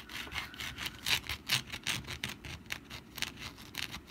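Long black nails scratch the textured surface of a rust-brown papier-mache pumpkin decoration lying on its side on a mat, with a wire spring resting nearby untouched. A quick, uneven run of dry, bright scratching strokes rasps and hisses with little low end, each stroke cutting off almost at once.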